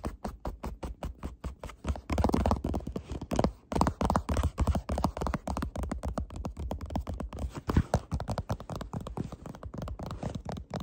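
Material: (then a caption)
Cardboard. A small, hollow printed cardboard tea box (Murchies Pomegranate Rooibos) is held in the hands while fingertips and nails tap and scratch across its faces and edges. The result is a fast, continuous run of short, dry taps and scratchy rubs with a low, boomy hollow body and very little high-end brightness.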